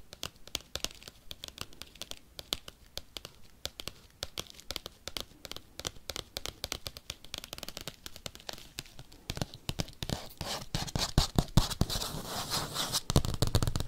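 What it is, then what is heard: Bubble mailer. Paperclips tap and scratch quickly across a padded bubble mailer envelope, making a dense stream of short, sharp, crinkly clicks with a bright papery edge. Toward the end the tapping grows louder and busier, blending into a more continuous scratching texture.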